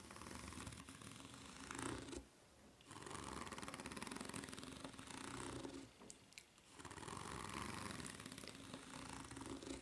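Long red nails scratch the serrated underside of a white ridged rubber flip-flop sole up close. The result is a dense, raspy scratching with a bright edge, broken by two brief quiet gaps before it resumes.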